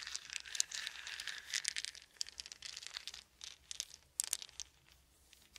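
Small solid wooden beads are held in both hands while fingers roll and rub them together. The result is a quiet, continuous stream of bright, dry clicking and crinkly rustling, with a few sharper clacks standing out and almost no low end.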